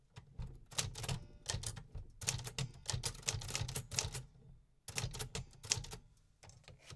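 Fingertips type repeatedly on the round metal keys of a vintage 1950s manual typewriter. Sharp, bright mechanical clacks with a low thump beneath each strike come in quick bursts, separated by brief pauses.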